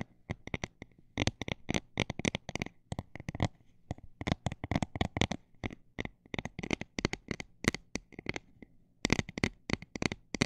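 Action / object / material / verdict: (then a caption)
tap / textured plastic item / plastic / none. Fingernails tap on a textured plastic item, switching between fast and slow runs. Each tap gives a sharp, dry, bright click that stops almost at once. The clicks come in quick clusters separated by short pauses, over a faint steady low hum.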